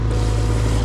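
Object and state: Nothing is struck.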